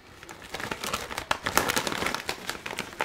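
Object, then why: Metallized plastic crisp bag. A large, printed metallized-plastic bag of Keogh's Irish potato chips in sour cream flavour, partly full, is held up in one hand and turned and crumpled by the fingers. It gives a dense, continuous run of bright, crackly crinkles with sharp, quickly fading bursts and almost no low end, getting busier and louder after the first half-second.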